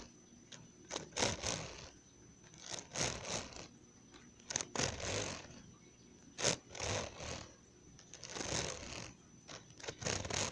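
Fingertips and nails scratch and tap along the metal spiral wire binding and glossy plastic cover edge of a blue one-subject spiral notebook. The result is uneven bursts of bright, crackly scraping and sharp clicks, with a thin steady high tone underneath and quiet pauses between.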